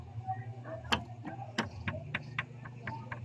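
A rubber mallet strikes the engine of a Honda Click 125 motorcycle to check its steel connecting rod, which already shows abnormally large side play. Eight short, sharp knocks ring out over a low steady hum, each a quick bright tap that dies away fast. The knocking confirms a worn connecting rod with excessive play.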